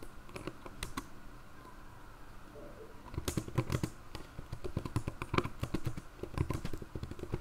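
Both hands with long grey nails type steadily on the hollow-body keyboard of a black plastic ThinkPad laptop resting open on a lap, fingertips and nails tapping the keys. Quick, dry clicks and taps with a soft low thump beneath them come in an uneven stream, thinning out for a couple of seconds before growing busier and louder again. Each tap dies away almost instantly.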